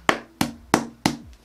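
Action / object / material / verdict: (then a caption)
knock / hard-shell plastic console carrying case / hard plastic / none. Four sharp knocks on a hard-shell Nintendo Switch carrying case made mostly of hard, smooth plastic with rubberized edges, knocked to show it resists crushing and impact. Each knock is loud, woody and short, with a brief hollow low tone after it.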